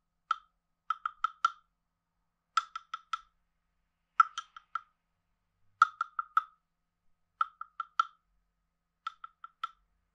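A hand-sized hollow carved wooden frog guiro has a wooden stick scraped along its back ridges, giving short hollow, woody croaks. The croaks come in quick clusters of about four, with brief pauses between clusters. Each croak is dry and clipped, centered around 1.3 kHz with bright upper overtones and no low end.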